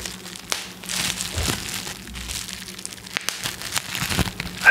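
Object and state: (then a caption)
Plastic bubble wrap being crinkled. A flat sheet of clear plastic bubble wrap is held in both hands in front of a microphone while the fingertips rub and crinkle it. The result is a steady, bright crinkling hiss scattered with sharp, short crackles and clicks over a faint low hum, and it ends in a louder crackling burst.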